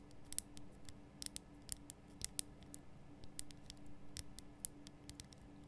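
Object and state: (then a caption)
Himalayan rock salt lamp. Long painted nails tap quickly on a large, rough, glowing pink Himalayan rock salt lamp, a solid salt block lit from inside and held in both hands. The taps come as quiet, dry, bright clicks with almost no ring, scattered irregularly over a steady low hum.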